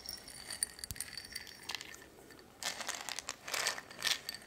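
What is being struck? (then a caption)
Small glass jar with metal screw lid. A small round glass jar with a silver metal screw lid and dark contents inside is held in a hand, and long red-painted nails tap and turn the lid before the jar is shaken. Quick, bright clicks and glassy clinks come first, then a louder burst of rattling and clinking in the second half. The sound is thin and high with almost no low end, and each tap dies away almost at once.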